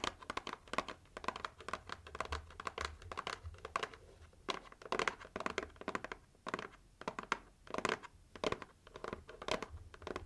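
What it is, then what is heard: Cardboard gift box, tapped and scratched. Long nails tap and scratch the lid and sides of a pink printed heart-shaped cardboard gift box held low in front of the chest. The result is a steady run of quick, dry taps and brushy scratching bursts with no ring, in a small, quiet space.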